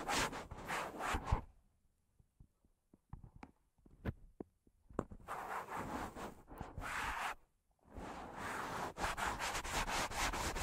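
Fingertips and nails rub and scratch the soft foam of two matching black foam windscreens on stand microphones. Dense, breathy rustling bursts open the clip, give way to a quiet stretch of sparse soft ticks and taps, then return as steady close scratching and rubbing with a bright hiss.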